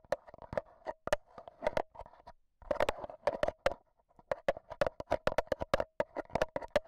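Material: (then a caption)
Metal mesh. A black Zoom H1n handheld audio recorder is held in hand while AA batteries worn like long nails tap rapidly on its metal mesh microphone grille. Dense, sharp, bright clicks come in uneven bursts over a steady mid-pitched tone, with a brief pause near the middle.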